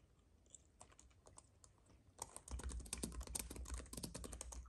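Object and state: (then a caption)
Plastic and aluminium keyboard being typed on. Fingertips of both hands type on a compact white keyboard with plastic keys on an aluminium base, resting on a fuzzy mat. Soft, sparse key clicks for the first two seconds give way to faster, louder, irregular clattering typing with short, dry taps.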